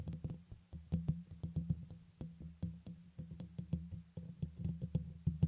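Fingertips with short nails tap and scratch the hollow, dome-shaped, fist-sized black metal mesh grille atop a red USB microphone. The result is a quick, irregular run of soft, dull thumps with a low, boomy body and brief bright clicky edges, each dying away almost at once.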